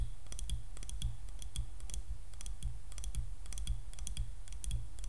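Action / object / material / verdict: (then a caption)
tap / wooden hairbrush handle / wood / none. Medium-long painted fingernails tap and scratch along the solid handle of a light wooden hairbrush, held in one hand close to the camera. The result is rapid, bright, dry clicking over a steady low rumble.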